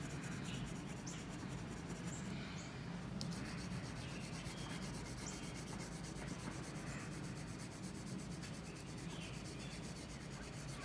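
A pink colored pencil rubs and scratches across a single white sheet of drawing paper, lying flat on an outdoor surface and held down by one hand, as a unicorn drawing is colored in. The scratching is a steady, quiet, continuous rubbing over a dense low rumble, with faint brighter strokes and no distinct pauses.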